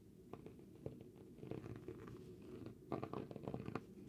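A thin, flat, hand-sized piece of granulated cork with rough torn edges is held in the left hand and scratched and brushed across its surface with a dark pen-like tool. Soft, dry scratching strokes come in short uneven bursts, with muffled low-mid body and little brightness. The strokes grow busier and slightly louder toward the end.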